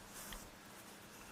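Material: Nothing is struck.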